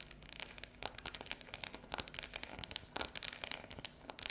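Long yellow nails tap and scratch a solid, unwrapped dark chocolate bar with a ridged square pattern lying on a table. A rapid, uneven series of bright, crisp clicks mixes with scratchy, crinkly rasps, each tap dying away almost instantly.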